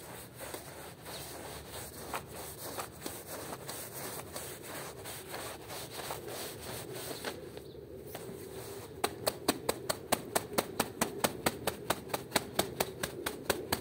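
A small, wet, soapy woven rug on a stone floor is scrubbed with the green plastic bristles of a long-handled broom. A steady, broadband wet rubbing hiss runs throughout. From about nine seconds on, it turns into sharper, evenly spaced scrubbing strokes at roughly two per second.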